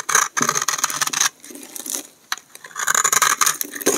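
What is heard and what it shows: A hand-sized solid bar of dry green soap is held in the hand and scraped and shaved with a utility knife blade, so that flakes pile up. Bursts of bright, crisp scraping rasp come and go, separated by quieter, softer scratching passages.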